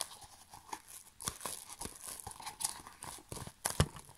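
A large sheet of clear plastic bubble wrap, rolled into a tube, is held and squeezed by fingertips. Soft crinkling and crackling go on throughout with short, bright snaps and a few sharper pops, the loudest near the end.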